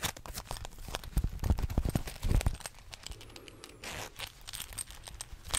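Fingertips and nails scratch and rub fast and hard across the front and collar of a green velvet or velour jacket worn on the body. The soft fabric gives dense, crackly scratching and rustling with a low rumble and bright, scratchy edges. A smoother rubbing swish comes midway.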